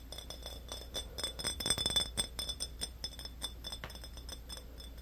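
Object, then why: Small glass drink bottle. Fingertips and short nails rapidly tap and rub a small, hollow, empty-looking clear glass soda bottle with a yellow label, held in both hands. The result is a quick, irregular run of bright, high glassy clinks and ticks that die away almost instantly, over a faint steady low hum.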